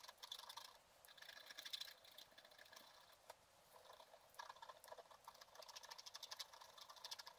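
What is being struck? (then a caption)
Black-coated scratch art paper card scraped with a wooden stylus. A pointed wooden stylus held in the fingers scratches away the black coating of a flat scratch art paper card, with a printed picture beneath, lying on a table. Quiet, dry, bright scratching comes in bursts of rapid short strokes, with no low end. Brief pauses separate the bursts.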